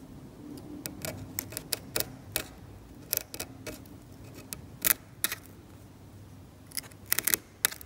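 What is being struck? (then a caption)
Metal scalpel on varnished oil paint on canvas. A metal scalpel scrapes the paint of a varnished oil painting on canvas, producing powdery debris. It makes a quick, irregular series of short, sharp, bright scratching clicks with almost no ring, over a faint low background hum.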